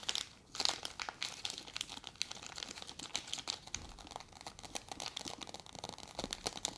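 A full, small soft plastic packet of wet wipes, white with a green label, is held in both hands and scratched and crinkled across its surface with long red fingernails. The result is a dense, quiet stream of bright, crisp crinkling and scratching clicks with almost no low end.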